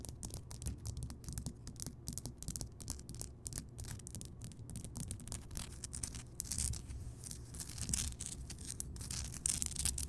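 Long nails on both hands scratch the rough surface of a large, solid, lit Himalayan rock salt crystal lamp. Dense, dry, bright scratching crackles sit over a steady low rumble, growing louder and brighter in the second half.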